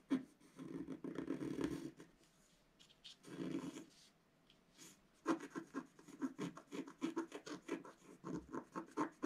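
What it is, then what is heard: Scratch art card being scratched. A wooden stylus scratches fine lines into a flat, solid scratch art card, a black coating over coloured foil paper about A4 in size, lying on a table. Two longer, steady rasping strokes come first, separated by a quiet pause. They are followed by a quick run of short, crisp scratches with a dry, mid-pitched papery texture.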